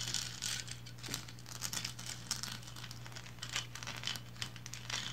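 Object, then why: Painted resin lighthouse figurine. Long blue nails scratch up and down the textured bands of a small painted resin lighthouse figurine standing upright. The result is a steady run of dry, crinkly, bright scratching strokes over a faint constant low hum.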